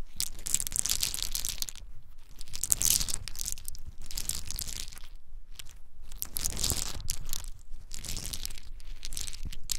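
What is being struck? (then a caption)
Pile of whole pine nuts in their shells. A pile of small, hard-shelled whole in-shell pine nuts is held in both cupped bare hands, rubbed and poured between the palms and fingers, with some falling onto a dark surface. A dense, bright crunching and rattling clatter comes in repeated bursts separated by brief near-silent gaps.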